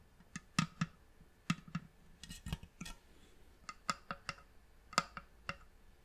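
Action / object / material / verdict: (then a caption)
tap / wooden box / wood / none. Long manicured nails and fingertips tap the top and sides of a hollow, polished reddish wooden box with a brass clasp and its lid closed. About fifteen short, dry clicks and knocks are heard, each dying away almost instantly. The clicks have a bright ring near 1.3 kHz, and a soft low thump sits under them.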